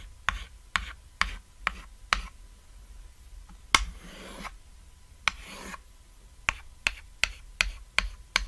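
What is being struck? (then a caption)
Chalk stick on a chalkboard. A short white chalk stick held in the fingertips draws repeated short ladder rungs on a flat, solid, cat-shaped black chalkboard. Thirteen quick, bright tick strokes sound, with two longer, breathy scratching strokes in the middle.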